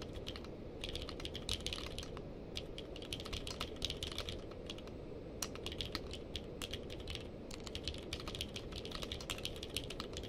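Two hands type with their fingertips on a purple-case mechanical keyboard with plastic keycaps. A steady stream of sharp, bright key clicks runs over a constant low hum, with short bursts and brief pauses.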